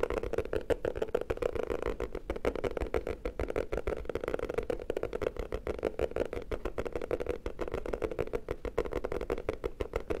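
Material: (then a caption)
Cardboard. Fingertips tap fast on the cover of a black hardcover notebook with an anime picture on it, held in both hands. A dense, steady stream of short, dry taps carries a hollow low-mid tone and a soft low thump, with little brightness and no ring after each tap.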